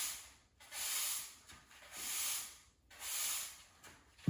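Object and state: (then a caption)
Cement floor being swept. A blue-and-black plastic push broom sweeps a small dust pile across a bare, solid grey cement floor, with its bristles rubbing and scraping the surface. Three broad, bright, hissy strokes rise and fade in turn, separated by brief quiet gaps. The clip ends on a short, louder low bump.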